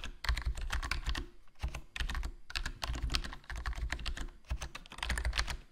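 Fingertips type continuously on a HyperX Alloy Core RGB plastic membrane gaming keyboard with a foam mod, black plastic body, black plastic keycaps and a hollow case. Rapid bursts of short, dull keystrokes with a deep, muffled low end and light bright clacks on top cut off instantly with no ring. Brief lulls come around 1.5 and 4.5 seconds.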